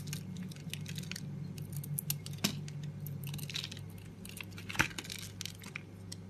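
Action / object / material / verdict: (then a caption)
scrape / bar of soap / soap / none. A blade cuts and scrapes pieces off a solid red and green oval soap bar held in a hand with long pink nails. Soft, crisp scraping and short bright cutting clicks come in an irregular stream over a steady low hum, with two sharper snaps standing out.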